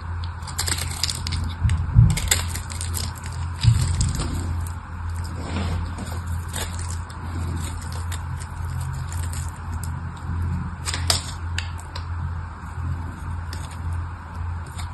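A palm-sized red rectangular bar of solid soap with a crackled, scored surface is held in a hand with long red nails and carved into small chips with a craft knife blade. Crisp, crunchy scraping and crackling cuts repeat irregularly over a steady low hum, with louder snaps near the 2- and 4-second marks.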